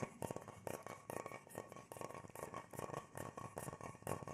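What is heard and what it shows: An irregular natural wooden bowl, hollow and empty and held in both hands, is tapped and scratched with the fingertips on its inside and rim. Quiet, dry taps with almost no ring come in a steady rhythm of bursts, mixed with a soft scratching rustle and a faint low-mid hollow tone.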